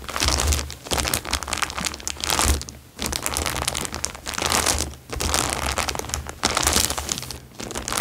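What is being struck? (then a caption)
Thin plastic bag. A thin, clear plastic bag lying flat on a fabric surface is scrunched and rubbed with fingertips. It makes dense, bright crinkling and crackling in long waves, with brief quiet gaps between them. A faint low hum sits underneath throughout.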